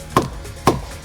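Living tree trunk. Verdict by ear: Solid.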